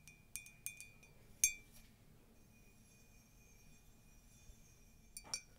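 Long nails tap and scratch a tall, white, conical ceramic mug with a colourful text print, hollow and empty, including inside the rim. Bright, high clinks ring out with a steady tone that lingers briefly, separated by faint scratching. A stronger pair of taps closes the clip.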